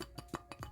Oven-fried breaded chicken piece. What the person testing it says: you see how crispy it is. Even on the other side it's crispy